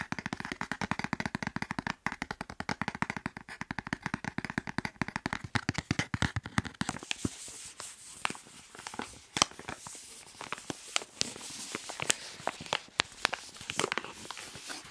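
A soft white plastic wet wipes pack, filled with wipes and held in the hands, is tapped and squeezed with fingertips and nails. Rapid, dense tapping fills the first half, then gives way to sparser, crinklier taps and squeezes with a brighter, high-pitched rustle. Each tap is short and dry, with almost no ring.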